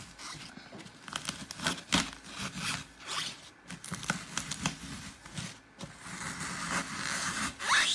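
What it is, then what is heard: Glitter-coated floral foam being crumbled. Fingertips keep pressing and crumbling the surface and edges of a glitter-topped green floral foam block, spreading dents across it. Dry, bright crunching and crackling comes in a steady run of short, uneven bursts with brief quieter gaps. It builds into a denser, louder crackle toward the end.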